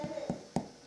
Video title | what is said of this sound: Let's Make Cinnamon Rolls | you can tell they're done because they sound hollow when you tap on them